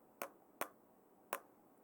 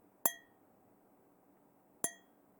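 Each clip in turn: First: plastic cup (plastic material). Second: metal cup.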